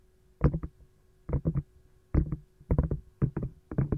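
Long gold nails knock and tap on an empty green silicone lime-slice ice cube tray, turned from its compartment side to its domed back. The result is soft, dull, low thuds with almost no ring, coming in quick bursts of about three knocks each, separated by short pauses.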